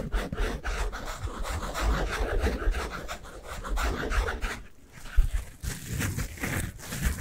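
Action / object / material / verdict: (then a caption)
scrape / synthetic foam sponge / foam / none. A pink and yellow synthetic foam sponge with a porous surface is squeezed and scratched with the fingers. Steady, rhythmic rubbing and scratching sounds carry a heavy low thump, with a brief quiet dip near the five-second mark. Sharper, brighter scratches come after the pause.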